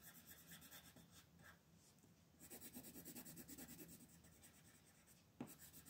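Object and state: Colored pencil shading on paper.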